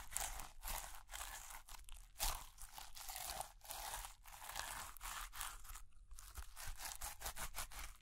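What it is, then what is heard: Clear slime with plastic beads being kneaded. A lump of clear slime full of white plastic beads is held between both hands and squeezed and kneaded with fingertips and long nails. The beads give off dense, bright crackling and crunching in a steady run of short bursts, separated by brief quieter gaps, over a faint low rumble.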